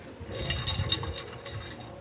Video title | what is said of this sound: Customer concern unusual noise sa ilalim, ito pala ang dahilan nadurog na sa loob ang catalytic | May kumakalansing sa loob.